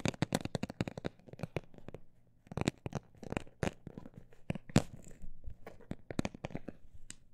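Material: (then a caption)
Fabric. A textured cosmetic bag is tapped in a fast, irregular series of short, dry taps with a crinkly, papery texture and a brief pause near the middle. Each tap dies away almost instantly, leaving a soft, close, muffled patter.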